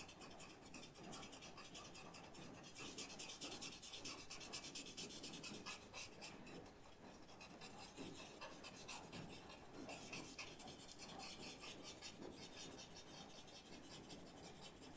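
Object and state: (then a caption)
Paper rubbed with a blending stump. A blending stump keeps rubbing and scratching charcoal across the surface of a white paper sketchbook. The result is a quiet, steady, bright rasping with fine repeated strokes running throughout.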